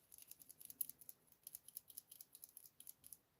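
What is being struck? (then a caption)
Liquid brow pen shaken by hand. A twist-up Holy Strokes Micro Fine Brow Pen, a liquid brow pen, is shaken to activate the ink, since it dries out if it isn't shaken. About two dozen quick, quiet, bright clicks and rattles from its contents are heard in a rapid run over about three seconds, each one short and dry with almost no low end.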